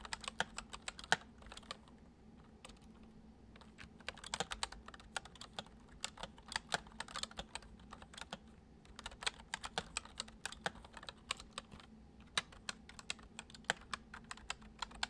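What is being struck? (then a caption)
Plastic computer keyboard. Fingertips of both hands type fast on a full-size white plastic computer keyboard with hollow keys resting on a wooden desk. Quick, bright, hollow clicks and taps come in irregular bursts, each dying away almost at once, over a faint steady low hum.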